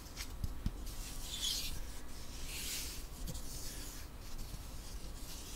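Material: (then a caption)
Wood. A long, flat, solid light-wood ruler with printed markings is held in one hand while fingertips and nails rub and scratch along its surface. Soft, airy rubbing and scraping rises in brighter bursts, with a few faint taps near the start over a low background rumble.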